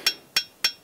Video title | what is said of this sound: Les Pyrénées dans vos chaussures - Sculpter les Pyrénées a mis le temps | si ça sonne le creux c'est pas bon mais si ça sonne comme une cloche